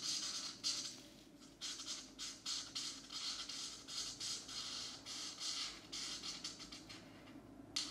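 A marker fills in a shape on a paper coloring book page with a geometric pattern, which lies on a map-printed desk mat while one hand holds the page. The short, scratchy strokes come as bright, hissy bursts with brief gaps between them. A faint low hum sits underneath.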